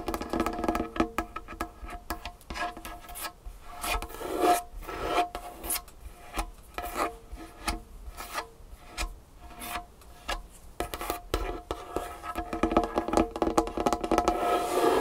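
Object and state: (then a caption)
Wooden tabletop. Long nails tap and scratch near the edge of a large, solid, varnished wooden tabletop. Quick, irregular taps mix with rasping scratches, each giving a short, woody midrange knock with little low end.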